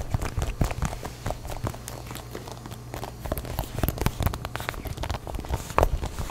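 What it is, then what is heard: Smartphone glass back and metal frame tapped with nails. Long nails tap and scratch the glass back and metal frame of a grey iPhone held in both hands. Quick, dry clicks and brief scratchy strokes come in an uneven, steady stream over a low, constant hum.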